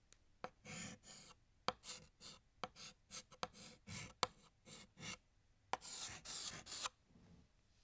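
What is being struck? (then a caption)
Chalk stick on a chalkboard. Fingertips hold a blue chalk stick and draw stars and swirls on a large, flat, solid black chalkboard. The result is a series of short, bright, scratchy strokes, many starting with a sharp tap of the chalk, separated by brief quiet pauses. A longer, rougher scraping run comes near the end.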